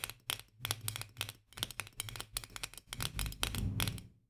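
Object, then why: Glass jar with metal lid. A full, medium-sized glass jar of mandarin marmalade with a metal lid is held upright in both hands while long nails tap and scratch quickly around the lid rim. A rapid run of short, bright, dry clicks and scrapes sits over a low resonant thud that swells toward the end, each tap dying away almost instantly.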